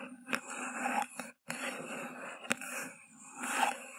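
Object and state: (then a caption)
Paper cup scratched and tapped. Long glossy nails scratch and tap along the hollow paper sides of an empty white paper cup with a green grass print, turned upside down over the microphone. Continuous dry, papery scraping with a bright hiss is broken by a few sharp, hollow taps and a brief moment of silence.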